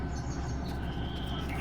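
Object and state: Nothing is struck.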